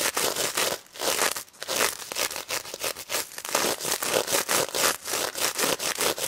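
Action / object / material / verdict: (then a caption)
scrape / plush toy covered in plastic sequins / plastic sequins / none. Long red nails scratch across the plastic sequins and mesh snout of a pink stuffed plush pig toy. The result is a steady run of bright, dry rasping strokes, each a quick scratchy rustle with a brief pause between, with almost no low end.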